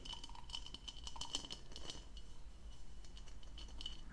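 An empty blue plastic goblet with a diamond-textured hollow bowl is held in one hand while long nails tap and scratch on the bowl. The result is a quiet, rapid stream of light clicky taps and scratchy rasps with a faint, steady high ring.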